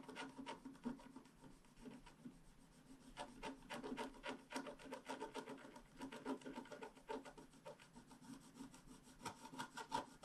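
A stylus held in a hand scratches the coating of a flat, black-coated scratch-art card lying as a solid sheet on a table, working in steady strokes. Quiet, dry scratching and rasping strokes repeat at a quick but uneven pace. Each stroke has a brief bright edge over a papery mid-range rub and stops almost at once.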